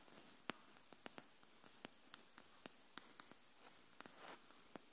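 A pink hardcover notebook, held horizontally, is tapped on its spine edge with long nails. Thirteen quiet, sharp, dry clicks sound at an irregular, slow pace, each dying away at once over a faint steady hiss.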